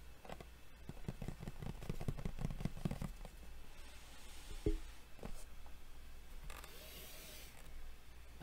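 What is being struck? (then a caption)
Printed cardboard box. Long fingernails of both hands tap and scratch a hollow printed cardboard Yu-Gi-Oh Duel Devastator box lying flat. A quick run of dull, low hollow taps fills the first three seconds, then gives way to soft scratching and rustling with a few isolated taps and a breathy bright swish near the end.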